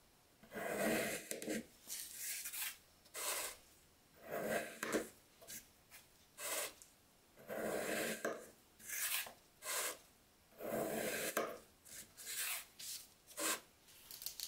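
A steel knife slices through a small, solid pink kinetic sand block, a faceted molded shape resting on a patterned mat, and a gloved fingertip presses and crushes it. A series of separate gritty, crunchy rasping bursts follows, each bright and hissy with a grainy midrange and short pauses between.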